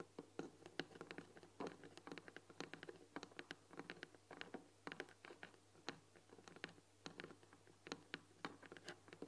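Long nails tap rapidly on the front "THÉ" panel of a long white painted wooden tea box with a glass lid, hollow and full of tea packets. A dense run of quick, dry, short taps and light scratches is heard, with a hollow wooden tone and a faint steady low hum underneath.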